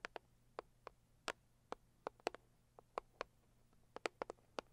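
Long acrylic nails tap the lid of a medium, closed, hollow pink floral cardboard gift box. About sixteen quiet, short, dry taps land at an irregular pace, each with a hollow midrange knock and a bright click that dies away almost instantly. A faint low hum runs steadily underneath.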